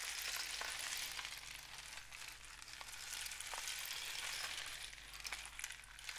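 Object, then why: Cardboard rain stick. A long, hollow painted cardboard rain stick with a mesh-wrapped end is held in both hands, fingertips resting on its surface, as it is tilted and turned. It gives a steady, bright, sizzling patter of tiny rattles that swells and eases slightly, with a faint low hum underneath.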